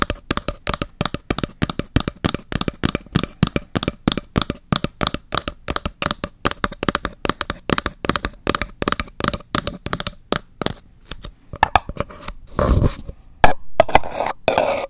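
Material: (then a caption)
Paper. A single empty purple-pink paper cup, hollow and held upright near and over the microphone, has its wall tapped and scratched with long acrylic nails. Rapid, dense clicking taps run steadily for about eleven seconds, each short and hollow with a faint ring, then give way to slower, louder scratching strokes with a brighter rasp toward the end.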